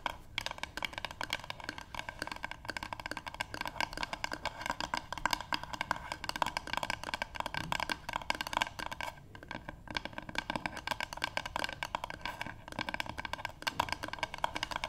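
Long pink nail tips on both hands tap a solid, light wooden paddle board in a rapid, continuous flurry. Each tap is a dry, hollow click with a woody tone around 950 Hz and almost no ring, with a few brief pauses along the way.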